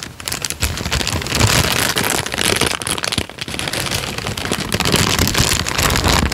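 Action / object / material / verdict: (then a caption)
scrape / thin paper sheet / paper / none. A thin tan paper sheet is held flat and then crinkled and bent with the fingers. It makes a dense, continuous crackling and rustling with bright, sharp snaps over a soft low rumble. The loudness swells and dips irregularly as the paper is worked.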